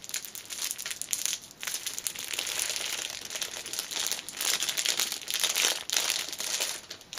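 Long nails squeeze and crinkle the clear cellophane wrapper around a small black fabric pouch held upright. The result is a dense, continuous, bright crackling with almost no low end, swelling and easing in waves with brief dips in between.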